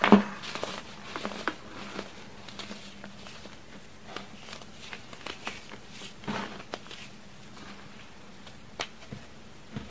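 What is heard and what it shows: Small, solid, chalky chunks of baking soda and cornstarch are crushed between fingers with long red nails over a pile of powder. Soft, dry crunches and crumbly crackles pop out at irregular intervals, the first one the loudest. A faint, steady low hum runs underneath throughout.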